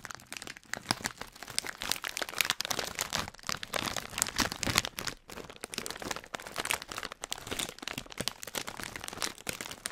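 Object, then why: Plastic foil snack bag. A hand-sized Hot Nuts snack bag of printed plastic foil, which looks full of peanuts, is held in the fingers and crinkled and squeezed by the fingertips close up. Dense, bright crinkling and sharp crackles run almost continuously, with only brief dips between bursts. Each crackle is dry and dies away at once, with little low end.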